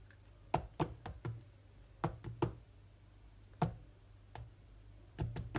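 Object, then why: Glass tablet touchscreen. Fingertips of both hands knock and tap on the glass touchscreen of a large tablet lying flat, producing an irregular series of short, dry knocks in quick clusters separated by pauses. Each tap is a dull thud with a woody tone around 730 Hz that dies away almost instantly, over a faint, steady low hum.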